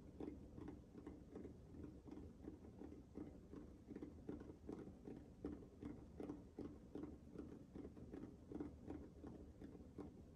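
A small, hollow, orange-pink nubby rubber sensory ball is cupped in both hands while fingertips tap and scratch its textured surface. The result is a quiet, steady pattern of soft, dull taps and rustling scratches with a low, muffled tone around 290 Hz. Each tap dies away almost at once.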